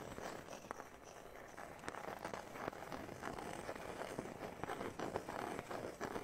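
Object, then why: Thin round wooden disc cut from a guitar top. A small, thin, solid round wooden disc cut from the sound hole of a Taylor guitar is held by hand near a knit-covered microphone and tapped and scratched with fingertips and nails. Quick, dry wooden taps sound irregularly over a steady, crackly scratching texture, with short clicks that die away almost at once.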